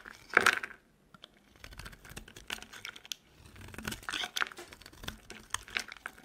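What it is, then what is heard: Dry soap bar being carved. A metal utility knife blade carves crumbly chunks off a solid, dry, peach-colored soap bar with foil on its edges, held in the hand. Dry, crackling scrapes and crunches come in bursts, loudest at the start, then continue as a dense stream of small, bright crumbling clicks.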